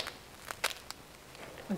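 Knuckles knock four times on the crust of a freshly baked wheat, spelt and rye loaf, just turned out of a covered stoneware baker onto a cooling rack. The knocks are short, dry, bright taps with almost no ring, followed by a brief low murmur. The crust sounds crisp and the loaf fully baked, just right.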